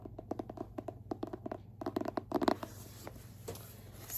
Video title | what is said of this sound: ASMR Book Tapping & Scratching, 2025 Book of the Month Rankings *tingles* *lofi* *whisper* *soft-so | they're all hard cover. So, fun to tap and scratch on.